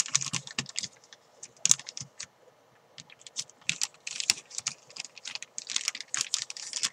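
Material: Plastic.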